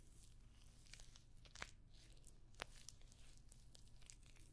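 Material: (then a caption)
Metal. A rectangular clutch bag covered in rows of small, hollow rose-gold metallic pyramid studs is held up close and scratched and tapped across the studs with long nails. The result is a quiet, dense, crackly scratching with a few sharper, bright clicks standing out, over a steady low hum.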